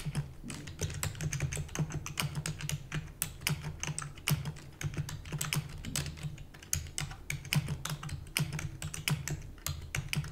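Rapid typing on a full-size black plastic keyboard with hollow keys, struck with long natural nails and fingertips. Quick, bright clicky taps run continuously for about ten seconds over a steady low hum.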